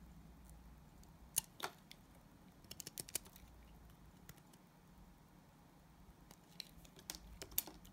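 A solid, translucent yellow glycerin soap bar held in the hand is shaved with a utility knife blade. Sharp, bright, dry clicks and short scraping ticks come in two irregular bursts over a quiet, steady low hum. Each tick cuts off almost instantly, with a lull in between the bursts.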